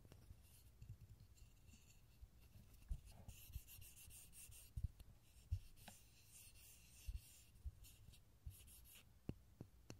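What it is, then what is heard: Pine wood block, rubbed and scratched. A small, solid, light pine block with visible grain, held in both hands in front of a stereo microphone, is rubbed and scratched with fingertips and short nails. The result is a quiet, steady, dry scratching texture with faint bright hiss and scattered soft, low, dull taps and bumps that die away instantly.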